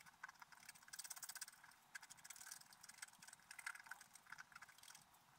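A wooden stylus scratches lines into the coating of a flat, black-coated scratch art paper page resting on a table. It makes a quiet, dry, bright scraping sound in quick, uneven strokes, with almost nothing in the low end. The strokes come as rapid, rasping bursts that stop short, with no ring after them.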